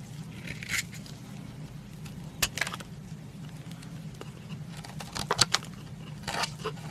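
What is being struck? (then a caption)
Solid bar soap shaved with a metal knife blade. A metal knife blade shaves a solid lilac bar of soap, forming powder and curls. Short, bright scraping bursts cut through a steady low hum, with the sharpest scrapes clustered near the end.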